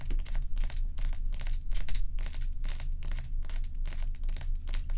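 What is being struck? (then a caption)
Large ice block. Long acrylic nail tips scratch along the edge of a large solid ice block resting on a dark towel. Rapid, bright, crackly scratching bursts repeat unevenly over a steady low hum.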